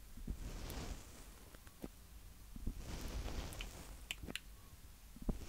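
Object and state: Handheld recorder mic heads tapped and rubbed.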